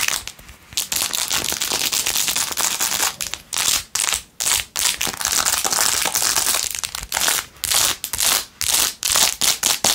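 Long acrylic nails scratch fast over the rhinestones of a blue-jeweled, glitter plastic phone case held in one hand. The sound is a bright, dry, crackling scrape with almost no low end, coming in irregular bursts broken by brief pauses.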